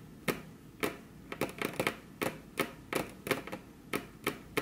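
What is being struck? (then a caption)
Wooden table top. Very long curved fingernails tap their tips on a flat, solid, glossy dark-brown wood-grain table top with crossed hands. The fourteen short, dry clicks are spaced irregularly, some in quick clusters, with no ring after each hit, over a quiet background.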